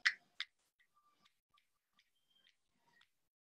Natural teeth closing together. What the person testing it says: You can hear tapping sound one after the other here because she has a premature contact on her left back